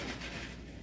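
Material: Nothing is struck.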